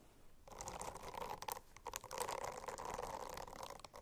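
Fingernails scratch across a silicone-covered notebook. After half a second of near silence comes a steady, soft, rubbery scratching with a dull midrange tone and brief brighter edges. It pauses briefly near the middle, then resumes and fades at the end.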